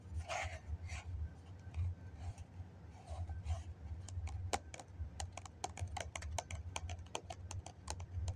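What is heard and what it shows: Fingernails tap on the side of a hollow white foam cup held in the hands. Soft brushing, rustling strokes come first, then a quick run of sharp, dry clicks with almost no ring, over a steady low hum.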